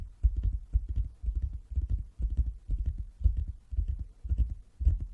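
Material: Wood.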